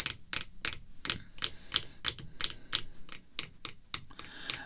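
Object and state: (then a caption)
Rigid plastic card holder. Long red fingernails tap and lightly scratch a clear rigid plastic holder containing a baseball card, lying flat on black cloth. The result is a quick, unevenly spaced series of sharp, bright plastic clicks, about three per second, with little low end, no ringing, and a faint scratchy hiss between the taps.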